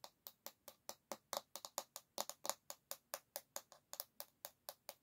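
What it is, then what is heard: Bamboo hairbrush back, solid wood. Long nails tap rapidly on the solid bamboo back of an oval hairbrush. There are 25 quick, dry clicks with bright high overtones and almost no ring, at an uneven pace. The taps are soft and quiet, with a faint woody tone near 580 Hz.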